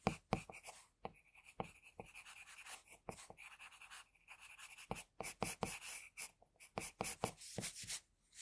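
A pencil draws fine strokes around the eyes and the hairline on a sheet of flat white drawing paper. Short, scratchy bursts of graphite on paper come in quick succession, with a bright hiss and a steady upper-midrange tone. A few sharper taps sit among the strokes, and brief pauses break the otherwise quiet scratching.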